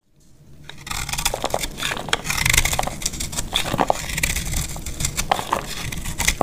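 A solid, dry orange soap bar held in the hand is scraped and shaved with a metal box-cutter blade, so brittle flakes fall off. After a quick fade-in, a dense, steady crackling scrape runs throughout, dotted with sharp bright clicks and some low rumble underneath.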